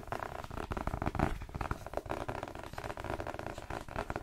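A paperback novel, 'The Twins', with a glossy card cover and a solid paper block, is held up, tapped quickly with fingertips on the cover and gripped. It gives a rapid stream of dull, low, crackly taps that stop short with almost no ring, set against soft rustling from the grip.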